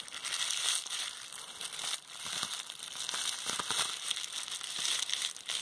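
A small roll of clear plastic bubble wrap with hollow air bubbles is held and squeezed in hands with long red-painted nails. It gives continuous bright crinkling and crushing, with sharp pops and crackles scattered throughout and almost no low end.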